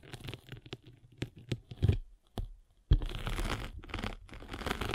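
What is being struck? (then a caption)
Abrasive foam sanding sponge rolled with a spiked roller. A spiked derma roller is rolled across a rectangular abrasive sanding sponge with a blue foam layer. Short, irregular scratchy crackles with low thumps give way after a sharp bump to a steadier, continuous rough crinkling scrape.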